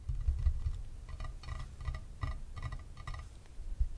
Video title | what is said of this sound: Unboxing a 1000 dollar chess set for ASMR ♔ Fischer vs Reshevsky, 1958 | it's a very different sound from the wooden board